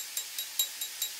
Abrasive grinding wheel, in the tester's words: listen for that ping sound. If you hear a dull thud, it means that there's a crack in the wheel